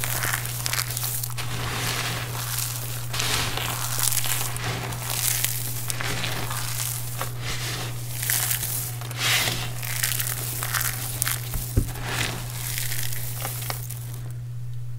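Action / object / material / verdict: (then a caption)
scrape / pile of soap shavings / soap / none. Fingertips with short nails press and rub flat into a large loose pile of crushed green dry soap flakes spread on a wooden surface, then grab handfuls and let them fall. The result is a continuous bright, crinkly crunching and rustling with repeated soft surges, over a steady low hum.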